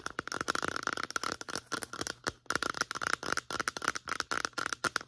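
Long nails tap and scratch quickly along the sides of a medium-sized white plastic lotion bottle with a pump. The result is a dense run of sharp, hollow clicks with a steady plastic ring around 1.4 kHz and bright scratchy texture between the taps.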